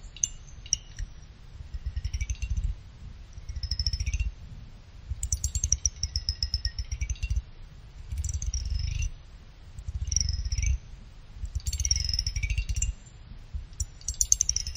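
A pick held in the fingers scrapes quickly back and forth across the side fins of a small finned aluminum CPU cooler heatsink. It makes a rough, purring rasp of rapid ticks in repeated bursts, with a low rumble underneath and high, bright whistling edges that sweep up and down.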